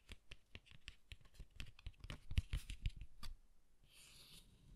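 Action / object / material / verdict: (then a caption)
scrape / cardstock greeting card / cardstock / none. Fingertips and nails scratch and rub the textured front of a closed green cardstock greeting card with a harp design, held in both hands. A quick, uneven run of short dry scratches with bright edges and low thuds builds to louder strokes. It then fades into a soft, airy high rustle.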